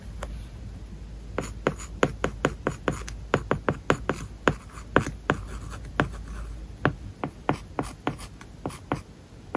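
An iPad covered with a matte paper-like plastic film lies flat while a stylus held in the fingers writes characters on it. Short, dry scratches and taps land in quick irregular bursts over a faint low hum, each one brief and bright with almost no ring.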